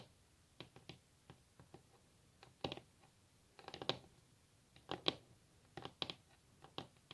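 Long natural nails tap on a solid varnished wooden tabletop up close, making around fourteen quiet, dry, bright clicks that stop almost instantly with no ring. The taps come at an uneven pace, some alone and some in quick little clusters.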